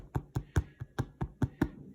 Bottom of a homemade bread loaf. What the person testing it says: you hear that hollow sound? It needs to sound hollow.